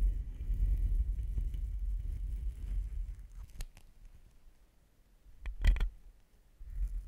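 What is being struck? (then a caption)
Metal shotgun microphone tube. A thin pink-tipped stick or brush rubs and taps along the long, black, slotted, hollow metal tube of a shotgun microphone held in a stand and clip, with the microphone itself being played. Low, muffled rubbing rumbles for the first three seconds, then fades to sparse, sharp, bright taps with a louder cluster near the end. The rubbing resumes at the close.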